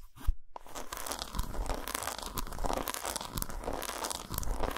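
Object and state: Dark chocolate bar.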